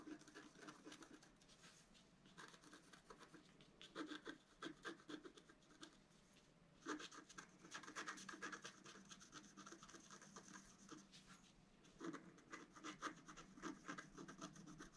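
A wooden stylus scratches the coating of a flat black-coated scratch-art card in short strokes, making quiet, dry, rapid scratching with a bright edge. The scratching comes in uneven bursts, getting busier and louder around the fourth, seventh and twelfth seconds before easing off again.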